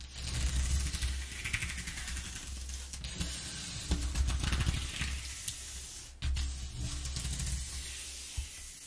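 Fingertips and long nails rub and scratch slowly over the exposed ridges of a flat corrugated cardboard sheet. The result is a steady, bright, hissy scraping with a low rumble underneath, broken by brief pauses and fresh strokes around the third and sixth seconds.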